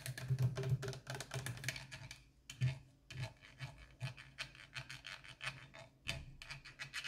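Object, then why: PET plastic water bottle. Long orange nails scratch and tap the ridged body and dark screw cap of a small, partly full 0.5 L clear PET plastic water bottle standing on a counter. The result is quick, dry rasping scratches and light taps in clustered bursts with a low hollow thump, broken by brief pauses.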